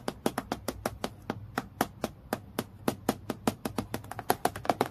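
Long nails tap quickly on a flat, transparent acrylic plastic clipboard lying on a dark table. About 27 sharp, dry clicks land in an uneven rhythm, each with a bright attack, a faint hollow tone near 715 Hz, and almost no ring. A few taps at the end come in quick clusters.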